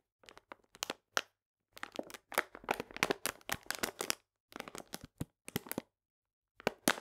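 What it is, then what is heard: Paper sugar bag. A full paper cane sugar bag is held upright and pressed and crinkled with fingertips and nails. Dry, bright crackling crinkles come in short bursts and longer clusters, separated by brief silences.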